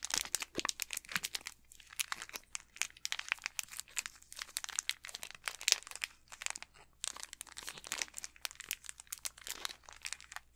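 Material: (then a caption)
Plastic film. An unopened Snickers candy bar in its plastic wrapper is turned in the hands while fingertips crinkle and squeeze the wrapper. The result is a steady run of dense, bright crinkling and crackling with almost no low end, in short bursts with brief quiet gaps, throughout the clip.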